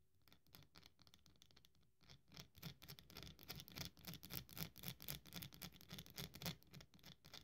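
A small carved piece of solid dry soap is held between the fingers of both hands and crumbled and scratched with long nails and fingertips over a pile of crumbs. Quick, uneven crunchy scratches with bright hiss and a soft low rumble start faint, then grow louder and denser after about two seconds.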